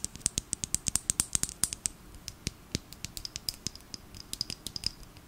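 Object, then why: Small plastic bottle of glitter liquid. A small clear plastic bottle filled with purple glitter liquid and topped with a pink cap is held in the hand and tapped and scratched with long nails. A rapid, uneven series of sharp, bright clicks and scratchy ticks sounds, each dying away almost instantly, with the denser, louder tapping early in the clip.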